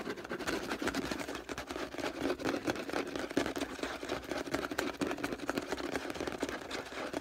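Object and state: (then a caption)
Plastic detergent bottle. Fingernails rapidly scratch and tap the label of a hollow orange plastic detergent bottle lying on its side. The result is a dense, continuous stream of quick clicks and scratchy rustles with a hollow, boxy resonance around 280 Hz and some brighter crackle above.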